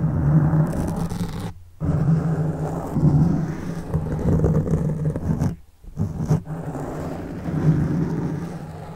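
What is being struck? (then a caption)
Foam microphone windscreen. Both hands scratch a black foam windscreen on a large microphone with fingertips and short nails, the soft, porous foam sitting over a hollow capsule. The result is a dense, low, rumbling scratch and rustle with a steady hum near 145 Hz, broken by two brief near-silent gaps.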